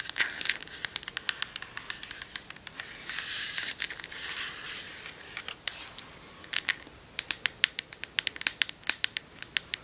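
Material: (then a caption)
Plastic. Long acrylic nails tap and scratch the cap and body of a medium red Joico plastic shampoo bottle with a silver cap, which appears full. Dozens of sharp, dry, bright clicks come in quick bursts, broken in the middle by a stretch of softer, hissy scratching. The sound is thin and high with no low end and no ring after each tap.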